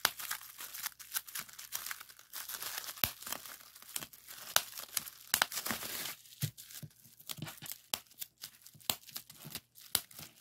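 A clear plastic bubble wrap sheet of hollow bubbles is pinched and squeezed between fingers and thumbs to pop it. Sharp, bright pops snap out over a steady crinkling rustle of plastic, dense for the first six seconds and then thinning to more scattered, isolated pops.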